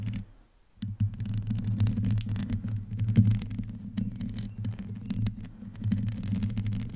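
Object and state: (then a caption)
Metal microphone grille being scratched. Long nails on both hands scratch and rub the hollow, rounded metal mesh grille of a black microphone. The result is a continuous, muffled, throbbing low rumble around 110 Hz, laced with dense crackling scrapes. It drops briefly to near silence just after the start, then resumes steadily.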